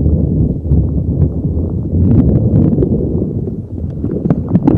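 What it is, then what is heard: Rubber spiky ball rubbed on a microphone. A neon green soft rubber spiky puffer ball is rubbed and squeezed with fingers over a microphone. It makes a dense, steady low rubbing rumble, with brief brighter squeaks and clicks popping out now and then.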